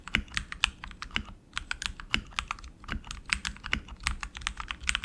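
Both hands type continuously with their fingertips on a tenkeyless RGB mechanical keyboard with tactile switches, plastic keycaps and an aluminum frame. A steady, uneven stream of sharp, bright clacks is heard, each with a short low thud beneath it, dying away almost instantly.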